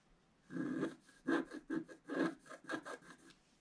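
A wooden stylus held in the fingertips scratches a flat, black-coated paper scratch-art card in repeated strokes. Each stroke makes a dry, raspy scraping burst with a mid-range body, separated by brief near-silent pauses.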